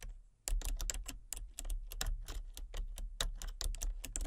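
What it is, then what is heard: Plastic computer keyboard being typed on. Fingertips and short nails type rapidly on the keys of a full-size plastic computer keyboard with a colour-changing backlight and a hollow casing. After a brief quiet start, a quick, uneven run of sharp clicky taps begins, each with a bright clack over a low, hollow thud that dies away fast.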